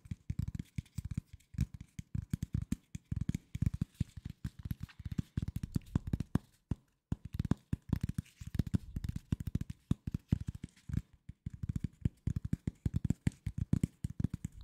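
Fingertips tap and scratch the surface of a flat corrugated cardboard sheet held at an angle beside the microphone. Rapid bursts of dull, low, dry thuds come in uneven clusters, with brief pauses between them and almost no ring after each tap.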